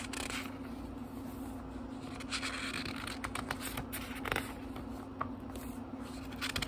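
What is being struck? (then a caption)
Thin paper pages of a small book. Fingertips turn the thin paper pages of a small, thick book, producing soft, dry rustles and crisp papery swishes with brief bright crinkles. A faint steady low hum runs underneath throughout.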